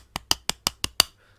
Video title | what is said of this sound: Playmates Godzilla 2016 (Shin Godzilla) figure REVIEW ! | the rest of the figure is actually made of a hollow hard plastic